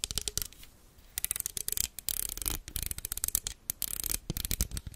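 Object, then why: Plastic toothed hair clip. Long red nails scratch and tap the teeth and surface of a small black plastic toothed hair clip held in one hand, close to the microphone. Rapid bursts of crisp, bright clicking and scratchy rasping come in quick clusters separated by brief quiet pauses.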